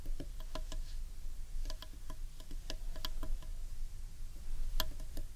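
Long painted nails tap the wood on the underside of a large hollow carved wooden bowl. Quick, light, irregular taps make short bright ticks that die away almost at once, over a steady low rumble.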